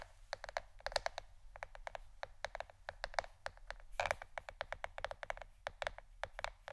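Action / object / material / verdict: tap / plastic board / plastic / none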